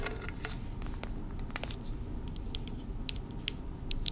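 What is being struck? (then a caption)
Small metal candle tin with lid. Long red nails tap and scratch the metal lid and sides of a small, hand-held round candle tin with a paper label and full of wax, and the lid is handled. Sharp, bright, short ticks and clicks stand out over soft scratching and a steady low background rumble, with the loudest taps near the end.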